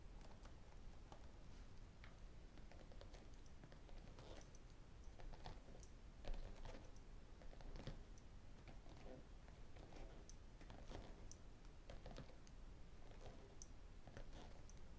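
A spiral notebook with a blue cardboard cover lies flat on a desk and is tapped and scratched with fingertips and metal rings. Quiet, irregular clicking taps and faint scratching sound over a steady low rumble throughout.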